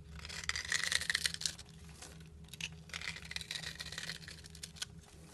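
A solid black bar soap, held in a hand with long nails, is shaved with a utility knife blade. Crisp, bright scraping and crackling come in quick, uneven bursts, loudest in the first second and a half and then softer. A faint steady low hum sits underneath.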